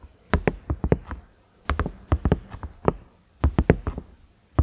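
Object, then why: Silicone microwave lid. Fingernails tap on the round knob and ridges of a large cream, ridged silicone microwave lid in quick bursts separated by brief pauses. Each tap is a short, dull, low-weighted knock with a faint bright click on top, and it dies away almost instantly with no ring.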